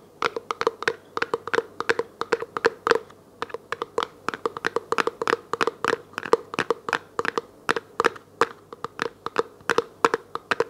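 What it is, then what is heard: Plastic food container. A small, hollow, clear plastic food container that appears empty is held in both hands and tapped and scratched with long nails. About 56 quick, dry clicks sound in an uneven, rapid rhythm, each with a hollow tone around 460 Hz and a bright, crisp edge. Each click dies away almost instantly.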